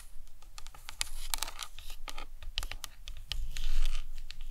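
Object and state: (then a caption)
Hollow plastic skull model. Long nails tap and scratch on the cranium of a hollow plastic anatomical skull model. Quick, irregular clicky taps are mixed with bright scratching over a steady low rumble, and the sound swells slightly louder near the end.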